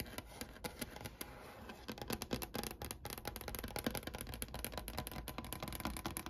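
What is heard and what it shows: Long painted nails tap rapidly with both hands on the desktop of a large solid wooden desk with a brown grained finish in sunlight. The taps are quick, dry clicks with a bright edge and almost no ring, layered over a soft low rumble.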